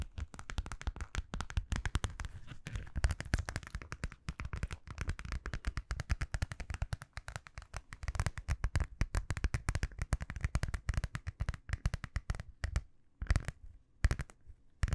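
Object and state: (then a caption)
Metallic vinyl zipper pouch. Long nails rapidly tap and scratch a small, flat, hollow purple metallic vinyl zippered pouch held close to the microphone. The result is a dense stream of dry, crinkly clicks and soft thumps with a heavy low-end body and almost no ring. The tapping thins into brief pauses and scattered bursts near the end.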